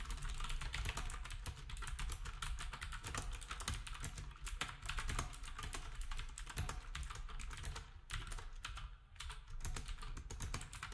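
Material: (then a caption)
Plastic. Fingertips of both hands type steadily on a black retro typewriter-style plastic keyboard with round plastic keycaps. The result is a dense, continuous stream of short, dry clicks over a strong low rumble, easing briefly near the 8- and 9-second marks.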